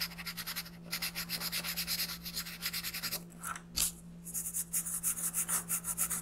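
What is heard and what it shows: A green colored pencil shades a thin printed paper sheet lying flat on a wooden desk, rubbing back and forth in quick, even strokes that make a bright, dry scratching. The strokes pause briefly in the middle, broken by a single sharper scrape, then resume at the same steady pace over a faint constant low hum.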